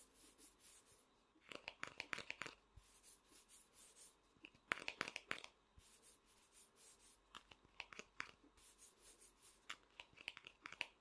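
A small hollow vinyl Funko Pop figure is held sideways while a fingertip and nail scratch its face. Quick, irregular bursts of dry, bright scratching come in clusters, with short crisp clicks and a faint hiss between them.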